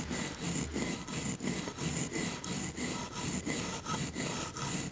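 A wooden toothbrush with blue bristles, held in a long-nailed hand, brushes back and forth over a row of solid painted wooden toy teeth. It makes a steady run of dry, scratchy rubbing strokes with a bright bristly hiss and a soft low woody body under each pass.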